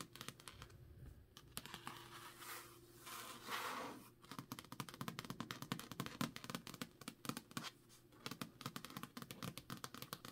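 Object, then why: Paperback book with a card cover. Long nails scratch and tap the card cover of a thick, solid Jade City paperback held in the hand. Soft, dry scratching strokes come first, then give way to a quick, dense run of crisp clicking taps mixed with scratches. The sound stays quiet and close throughout.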